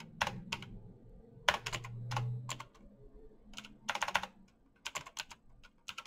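Bare fingertips type fast on a black plastic mechanical keyboard with clicky switches, producing bursts of sharp, bright clacks with very short decay. The keystrokes come in quick clusters separated by brief pauses, over a soft low hum that swells near the two-second mark.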